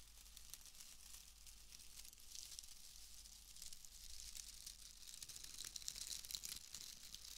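A pale bundle of wood wool shreds is crushed and rubbed between the hands and fingers. It makes a dense, dry crinkling and crackling rustle with a bright, hissy top and a faint steady low hum underneath. The sound is quiet throughout and grows slightly louder in the second half.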